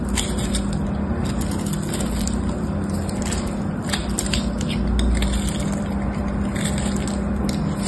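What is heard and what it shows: A solid, palm-sized white bar soap with a gold patterned coating and a cream-colored interior is shaved and cut with a utility knife blade. The scraping and cutting make rasping sounds that run steadily over a low, constant rumble.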